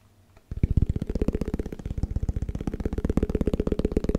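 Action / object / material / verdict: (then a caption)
tap / small plastic food container / plastic / none. A small, round, white plastic Tupperware food container, hollow and apparently empty, is held in one hand and tapped quickly with the fingertips. After a brief near-silence, a fast, continuous run of dull, low, hollow thuds begins and carries on steadily to the end, each tap short with almost no ring.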